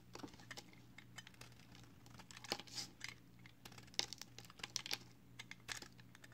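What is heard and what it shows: A small solid strip of pale green soap, held in the fingers, is shaved repeatedly with a box cutter blade until only a thin stick is left. The cuts make a quick series of short, crisp, bright scraping and flaking clicks that stop dead, over a faint steady low hum.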